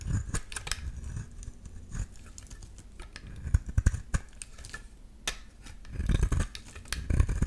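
A metal utility-knife blade scrapes along the edges of a solid yellow bar of soap. Short, dry scraping strokes and crackly ticks come in uneven bursts over a soft, low rumble, with brief bright scratchy edges. The sound is busiest near the middle and end.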